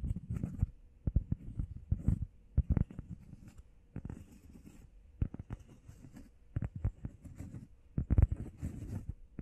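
Long painted nails and fingertips rapidly tap and scratch a flat, solid, hand-sized grey textured EVA foam workout pad shaped like a heart. The result is a quick, uneven patter of dull, low, muffled thuds with almost no ring, broken up by soft scratchy rustles and faint bright hiss.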